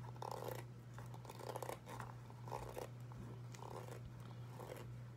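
A single dark grey Crocs-style clog of molded foam with ventilation holes is held in the hands while long white acrylic nails scratch and tap across its hollow shape. The result is soft, quiet bursts of muffled scratching and light tapping, centered in the low-mids, over a steady low hum.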